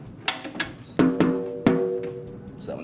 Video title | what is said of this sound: D'Addario Core: How to Change and Tune a Snare Drum (Top) | that one's a little lower, so you can tighten